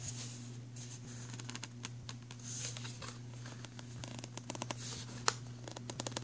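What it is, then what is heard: Plastic pencil tray. Fingertips and nails tap and scratch along the ridges of an empty black ridged plastic pencil tray, hollow underneath and resting on a fabric bag. Quick, bright, dry clicks and raspy scrapes come in bursts over a steady low hum, with one sharper tap standing out near the end.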